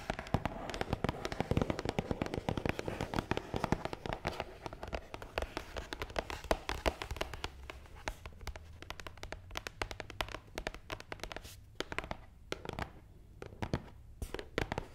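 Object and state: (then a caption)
Cardboard box tapped with nails. A long, black, matte cardboard gift box, hollow and closed, is tapped fast on top with long nails. The result is a dense stream of short, dry clicks with a hollow, crackling texture. The tapping is busiest at first and grows sparser, with brief pauses, toward the end.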